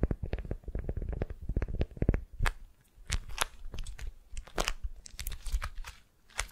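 Long nails scratch and fingers squeeze a beeswax-coated cotton wrap around a solid wooden sphere. A quick run of soft, low-heavy crinkling taps and thumps fills the first two seconds, followed by sparser, brighter crackles and scratchy rustles. Each sound is short and dry, with little ring.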